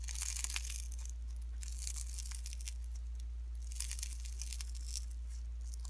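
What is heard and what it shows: Pink slime mixed with fine shredded cellophane is pressed flat and folded between fingertips, giving a dense, bright crinkle in bursts of crackly tearing and crunching. A steady low hum runs underneath throughout.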